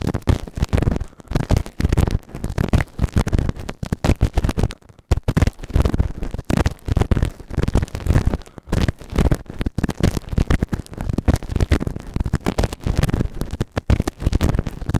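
A white plastic ear tool held in fingertips scrapes inside the ear canal of a grey silicone ear-shaped microphone on a round base, soft and solid. Close, dense scratching and rubbing comes in rapid, uneven bursts, heavy and muffled in the low end with almost no brightness. Brief quiet gaps break up the steady scraping.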